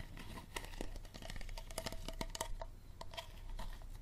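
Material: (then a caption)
Plastic. Fingernails tap and scratch the body and label of an empty, hollow clear plastic water bottle with a green plastic cap. Quick, dense clicks land over a low rumble, with crinkly scratching between them and short bright ringing tones on some taps.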